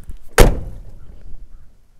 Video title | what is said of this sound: 1982 Ford F150 Project Update | like it when you shut a door and it actually sounds like metal